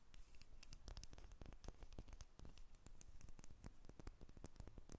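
A small, solid, cream-coloured bar of soap held in the hands is scratched and tapped with long red nails. Quiet, rapid, crisp ticks and scratchy scrapes follow one another closely, each sharp and bright with almost no ring, over a soft low rumble.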